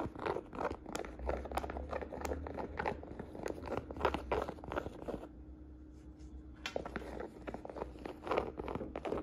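Fingertips and long nails tap and scratch the surface of a hollow navy and beige woven jacquard canvas saddle purse held in the hand, producing quick, irregular, dry tapping and scratchy rustling. The taps pause briefly in the middle, leaving a softer scratch before the tapping resumes.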